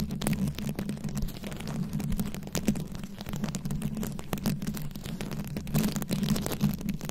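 Very long acrylic nails scratch fast across a round, fist-sized microphone head covered in plastic rhinestones and beads. The result is a dense, continuous crackle of tiny bright clicks over a heavy low rumble, with a steady hum near 200 Hz underneath.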